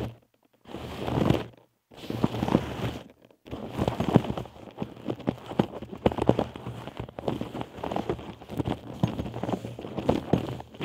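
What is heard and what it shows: Long acrylic nails tap and scratch the front of a small, soft, hollow blue nylon Disney Stitch backpack held over the microphone. The result is a steady stream of quick, dull taps and rustling scratches, mostly low and muffled with very little brightness. It comes in bursts separated by a couple of brief silent pauses near the start.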